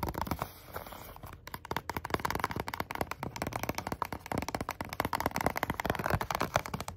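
Medium-length natural nails and fingertips tap and scratch quickly across the front and sides of a small, hollow, white printed cardboard box, Samsung Galaxy SmartTag packaging, held in both hands close to the microphone. The result is a fast, dense stream of short, dry, papery clicks and hollow taps mixed with light scratching, each sound dying away almost instantly.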